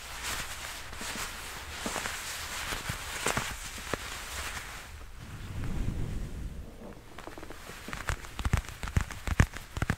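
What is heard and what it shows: Black leather gloves worn on both hands rub, squeeze and flex against each other above a furry microphone. Soft, steady leathery rustling and scraping fill the clip, with a low rumbling swell around the middle. Sharper crackling squeaks and snaps grow louder and more frequent toward the end.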